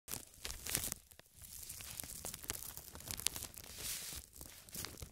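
A large, thin, transparent plastic bag, empty and hollow and draped over a tripod microphone, is scratched and crinkled with long red nails and fingertips. The result is a continuous bright, crackling rustle with sharp crisp snaps that die away almost instantly, plus a few brief quieter pauses.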